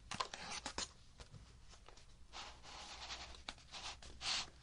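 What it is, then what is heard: Cardboard box scratched and tapped. Fingernails scratch and tap the sides of a hollow kraft cardboard box, making bright, dry scraping and quick clicking taps with almost no ring. The box is then lifted with its lid on, giving a short, bright papery rustle near the end.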